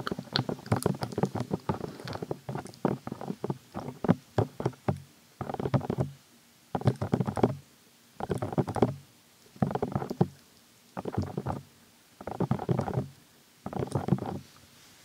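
Fingertips of both hands cup, rub and tap the hollow, soft silicone ear molds on either side of a white 3Dio-style binaural microphone with a black plastic body. The result is dense, muffled, low thumping and rustling: a continuous flurry of quick taps for about five seconds, then short bursts separated by quiet pauses.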